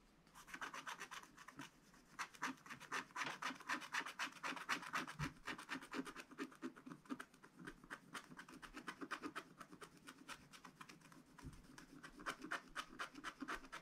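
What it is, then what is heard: Scratch-art paper being scratched. A wooden stylus, held in the fingers, scratches its point across the black wax-coated page of a spiral-bound scratch-art book lying flat on a table, working in the sun area. The result is quiet, dry, rapid scratching, roughly four strokes a second in a fairly steady rhythm. Each stroke is short and bright, centered in the upper midrange, with almost no low end.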